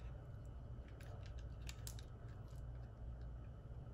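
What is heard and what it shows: A solid white oval soap bar held in the palm is carved with the metal blade of a red-handled utility knife. Faint, crisp scraping and cutting clicks sit over a steady low hum throughout the quiet clip.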